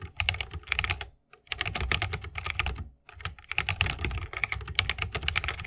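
Fingertips of both hands type rapidly on a 60% mechanical keyboard with a bamboo wood case, plastic keycaps and tactile Holy Panda switches. Dense, bright, short clacks with a low thocky body run in quick bursts, with brief pauses near 1.2 and 3.1 seconds.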